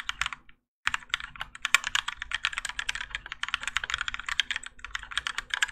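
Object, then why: Mechanical keyboard with ABS plastic keycaps. A Keychron K4 compact mechanical keyboard with Gateron Yellow switches and grey and orange ABS plastic keycaps, on a plastic and metal case resting on a desk mat, is typed on continuously with the fingertips of both hands. A rapid stream of short, bright plastic clacks follows a brief silent pause near the start, with a faint steady low hum underneath.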